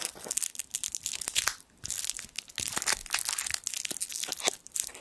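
The twisted end of a small gold foil sweet wrapper is crinkled with the fingertips over the microphone. Dense, bright crackling and crisp snaps come in irregular bursts, with a brief lull partway through. There is almost no low end.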